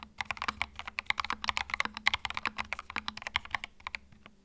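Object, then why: Mechanical keyboard with plastic keycaps. Fingertips type continuously on a compact white mechanical keyboard with plastic keycaps. About 28 sharp, bright clacks come in a quick, uneven rhythm, each one dry and clipped with almost no ring or low-end thump.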